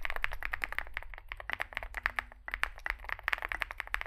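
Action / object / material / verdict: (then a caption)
tap / mechanical keyboard with metal case and plastic keycaps / metal, plastic / none. Two hands type with their fingertips on a Zoom65 65% mechanical keyboard resting on a desk mat, with a dark metal case (likely aluminum), white and grey SA-profile plastic keycaps and lubed switches. A rapid stream of short, crisp key taps centers around 1.7 kHz with bright edges, and each tap dies away almost instantly over a faint low rumble.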